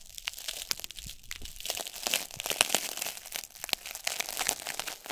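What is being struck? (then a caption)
Corn starch foam packing peanut. A single small, light-green corn starch foam packing peanut, a solid, light cushion piece, is squeezed and crushed between fingertips over a cloth surface. It gives dense, dry crackling and crunching with short, bright snaps, mostly high-pitched with almost no low end.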